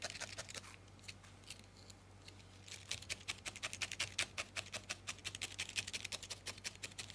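A thin steel felting needle repeatedly stabs a small, solid ball of grey-white felted wool held between fingertips, recorded close up. It makes quiet, crisp, bright pokes in an uneven rhythm. They slow briefly early on, then resume quicker and steadier over a faint low hum.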